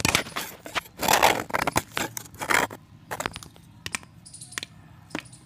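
A solid white pressed chalk disc, held in the fingers, is cut and scraped with a box-cutter blade. Loud, gritty, bright scraping strokes come in bursts over the first few seconds, then give way to quieter crumbly ticks and light crackles with a faint high whine.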